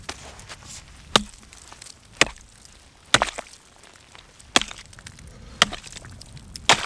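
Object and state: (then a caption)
Lake ice chopped with an axe. A steel axe head on a long wooden handle, held in gloved hands, chops repeatedly into thick frozen lake ice, a solid sheet covered in broken snow and ice chunks, to open a hole. Six sharp, bright cracks land at uneven intervals, each dying almost instantly with little low end. Faint crunches and scrapes fill the gaps between strikes.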